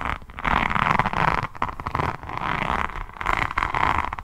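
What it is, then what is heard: Rhinestone-covered notebook being scratched. Long nails scratch across the resin rhinestone cover of a hardcover diamond painting notebook held close to the mic. The result is dense, crackly scraping concentrated around 1 kHz, arriving in several sustained bursts with brief quieter gaps between strokes.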